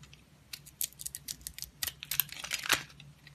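A solid oval bar soap with an orange leopard-print coating and a yellow interior is held in the hand and sliced and scraped with a utility blade. A rapid series of short, dry, bright crackling clicks is heard, each snapping off almost instantly with no ring, over a faint low hum.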